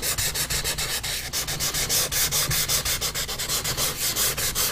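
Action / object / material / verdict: scrape / pastel stick on a paper sheet over a board / paper / none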